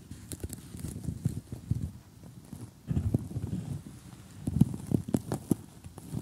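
Short glittery gel nails on both hands tap across an assembled cardboard jigsaw puzzle of colorful houses lying flat. The result is a quiet, irregular series of soft, dull, low taps with short clicky edges and no ring, arriving in uneven clusters with brief pauses between them.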